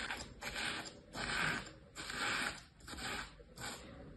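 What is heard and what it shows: A small pointed tool held in the fingers scratches lines into packed kinetic sand stamped with shapes in a plastic tray. Six grainy, hissing scrapes sound in a loose rhythm, each brightest in the upper midrange with a fine high sizzle, separated by short quiet gaps.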